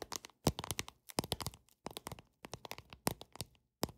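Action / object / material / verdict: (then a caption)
tap / paper playing card deck / paper card / none. A paper deck of playing cards is tapped with long nails, giving quick, dry, crackly clicks in uneven bursts separated by short silences. Each tap is bright and papery with a faint low thump, and stops almost instantly.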